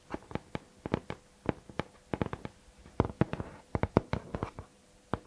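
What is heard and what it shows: Fingertips and nails tap and scratch the flat, thin, tiger-print paper-covered cardboard cover of a hardcover notebook or folder held up in both hands. The result is an irregular series of short, dry taps with dull low thuds and almost no ringing, with faint scratching between some of the taps.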